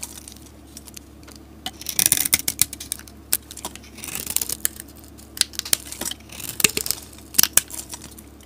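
A utility blade shaves a solid green soap bar with a white stamped top layer, and curls fall off as it cuts. The clip is a run of crisp, bright scraping and crackling bursts with sharp little ticks between them, over a quiet, steady low hum.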